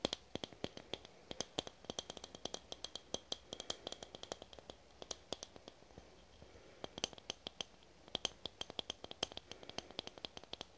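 A red aluminum spray can with a plastic cap is tapped and scratched with long nails, giving a rapid, irregular series of sharp, dry clicks with a bright metallic ping near 3.2 kHz. Each hit dies away almost instantly, with little low end, over a soft background hiss.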